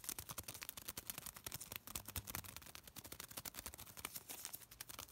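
A small folded piece of thin white paper is held between the fingertips of both hands and crinkled and rubbed. It makes a quiet, steady stream of fast, dry crackles and sharp clicks, bright and hissy with little low end, each snap dying away almost instantly.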